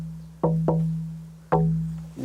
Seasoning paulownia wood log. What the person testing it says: 건조는 아직 좀 덜됐지만 지금 잘 나오는 경우고요